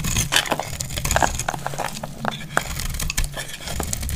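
A metal utility blade cuts and scrapes a solid, hand-sized, dry dark purple Lux soap bar, and crackly flakes break off. Rapid, bright, dry crackles and short clicks come in quick bursts over a steady low rumble.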